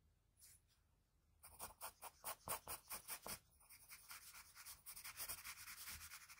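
A graphite pencil tip scratches line strokes along a jaw outline on a sheet of drawing paper. After a faint opening stroke, a quick run of bright, raspy scratches follows, then a denser, steadier stretch of rubbing strokes.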